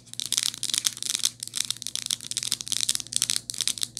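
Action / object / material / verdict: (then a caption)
tap / plastic and rubber phone case with metal ring holder / plastic / none. Long nails tap and scratch around the metal ring holder on a rose-gold hard plastic and rubber phone case fitted on a phone. The result is a dense run of quick, dry, bright clicks and scrapes in clustered bursts, with almost no low end and no ring after each touch.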